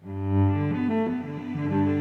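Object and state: Nothing is struck.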